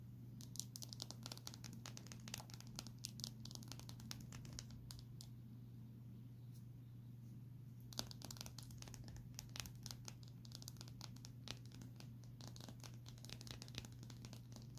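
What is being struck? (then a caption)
Smartphone glass screen. Long nails tap and scratch across the glass front of a small, solid Samsung smartphone with a white frame, held flat. Quiet, rapid, bright clicks and crinkly scratching run over a steady low hum, thinning out briefly in the middle before the tapping picks up again.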